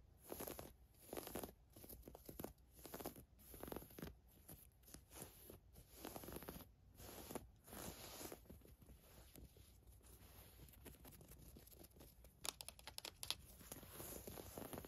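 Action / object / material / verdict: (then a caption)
scrape / woven fabric camisole top / woven fabric / none. Long nails scratch and rub across a navy floral woven fabric camisole top lying flat. Soft, papery scratching comes in repeated bursts with a bright hiss and a faint low rumble underneath. The strokes turn into a steadier, quieter rubbing near the end.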